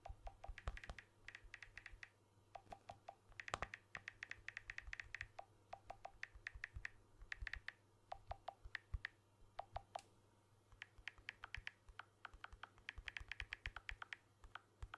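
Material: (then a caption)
Glass, aluminium. Fingertips tap rapidly on the glass back and aluminium edge of a blue smartphone held up close. Dozens of short, dry clicks come in quick bursts separated by brief pauses. Each tick is crisp and bright and dies away at once over a faint low hum.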